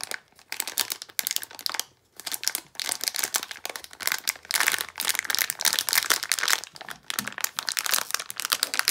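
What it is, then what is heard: Plastic foil bag crinkled. A small sealed plastic foil blind-box bag holding a Disney d-Licious Desert toy figure is held in both hands and crinkled and squeezed with fingertips and long nails. Dense, bright crinkling and crackling comes in bursts, with short quiet pauses, including one near the two-second mark.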